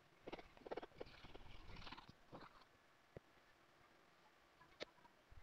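The edge of a thin (1.5–2 mm), solid crazy horse leather money clip piece is rubbed fast with a turned wooden edge burnisher held in the fingers. Rapid bursts of squeaky, scratchy friction fill the first two and a half seconds. Then it goes quiet apart from a couple of sharp, bright ticks.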